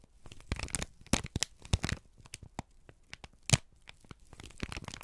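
A folded, crinkled sheet of brown kraft paper is held in both hands and squeezed and crumpled with the fingertips. It makes a run of irregular, dry crackling and crinkling bursts with bright, papery highs and a soft low rustle beneath. The louder snaps stand out sharply and die away almost at once.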